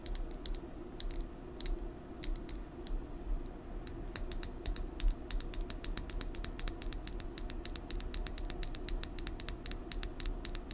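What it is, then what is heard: Plastic lip gloss tube. A full, small red lip gloss tube with a clear plastic body and metallic cap is held in the hand and tapped and scratched with long nails. Rapid, sharp, bright plastic clicks and light scratching, sometimes irregular and sometimes in quick runs, sit over a steady low hum.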